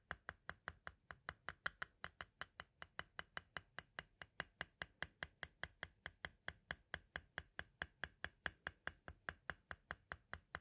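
A thin pointed tool taps near the center of a small, hollow white plastic compact cassette shell again and again. About 52 sharp, bright clicks come at a steady quick pace, each dying away almost at once with no ring.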